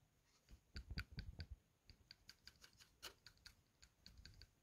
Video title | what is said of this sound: 😡 DIAG BMW N54 2a87 2a82 335i VOYANT MOTEUR PERTE PUISSANCE👎CHANGER ELECTROVANNE VANOS EN -de 10min | il faut secouer, je sais pas si vous entendez. Enfin voilà, il y a un petit bruit